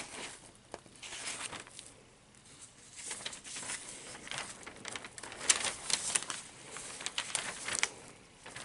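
Hands sweep across and turn the pages of an open spread of thin newsprint newspaper, then hold a folded page up. The result is soft, bright crinkling and rustling with quick crackly bursts and almost no low end.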